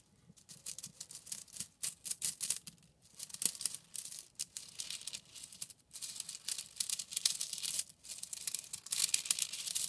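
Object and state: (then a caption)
Bundle of plastic drinking straws. A hand with long painted nails squeezes, fans and rubs a bundle of thin hollow plastic drinking straws, scratching and crunching them. The result is a steady run of bright, dry crackling and crinkling bursts with brief pauses between handfuls.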